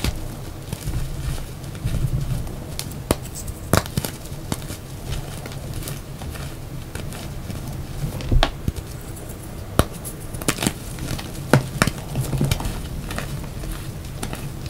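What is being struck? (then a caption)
Reformed gym chalk blocks crumbled by hand. Bare fingertips press, squeeze and rub dry, powdery chunks of yellow-orange reformed gym chalk (magnesium carbonate), crumbling them on a mat beside a pile of crumbled chalk and whole chalk blocks. Soft, steady gritty crumbling sits over a low, bass-heavy rumble. Scattered sharp, dry crackles and snaps break through as the chunks give way.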